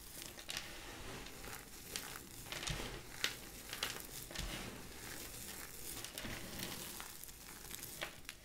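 Bare hands rub flat across a pile of dry purple and cream soap chips on a white surface, then grab and squeeze handfuls, crushing the brittle flakes. The result is a dense, bright, crinkly crunching with irregular louder bursts as each handful is squeezed.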